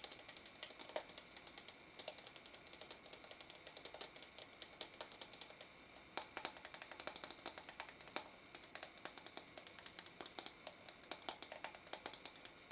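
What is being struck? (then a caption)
Small plastic tub of putty. Long fingernails tap and scratch the side of a small pink translucent plastic tub with a lid, filled with pink noise putty and held in one hand. Rapid, dense, quiet clicking taps with a bright, crisp edge ring out over a faint steady scratching hiss, each tap dying away almost instantly. There is almost no low end.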